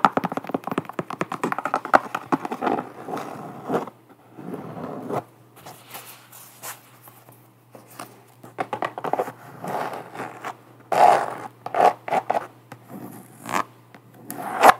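An empty, hollow low-top Vans-style canvas sneaker with a rubber sole is held in hands while long matte black nails scratch and tap across its canvas upper and rubber sole. Dense, dry scratching and scraping comes in bursts with short pauses, mostly in the mid range around 760 Hz with brief bright flicks. Sharp tapping clicks stand out near the end.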